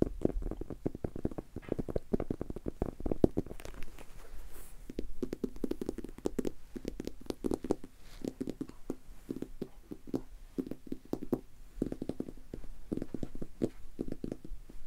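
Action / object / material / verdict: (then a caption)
tap / leather-covered book / leather / none. A solid maroon leather-covered book is tapped with fingertips and nails, then held close and tapped again. Rapid, dull, soft knocks with a low hollow body and no ring come in dense bursts with short pauses between them.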